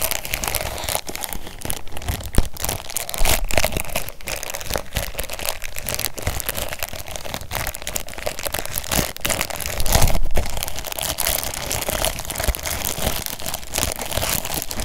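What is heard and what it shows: A long stack of empty, nested white disposable cups in a clear plastic bag is held in one hand while fingertips squeeze and crinkle the wrapper. A steady, dense run of crisp plastic crinkles and crackles carries on throughout, over a low rumble, with a slightly louder burst of crinkling around the middle.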